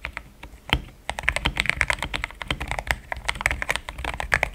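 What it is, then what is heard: Mechanical keyboard with plastic keycaps. Fast fingertip typing on a solid, compact pink-cased mechanical keyboard with thick cream XDA plastic keycaps. A few scattered clacks open the clip, then after about a second a dense, steady run of sharp, dry keystrokes follows. Each stroke is bright with a tone near 1.7 kHz and dies out almost instantly with no ring.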